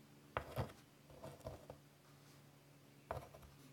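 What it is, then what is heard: Chalk drawing on a wood-framed chalkboard. White chalk scratches curly lines across a large, flat, wood-framed chalkboard. Short, dry scraping strokes come in quick bursts separated by quiet pauses, with a faint low hum underneath.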